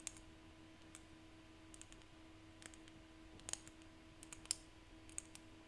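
Seashells are tapped by hand, giving quiet, sharp, bright clicking taps at an uneven pace over a low steady hum. About fourteen short clicks stand out, with no ringing after each.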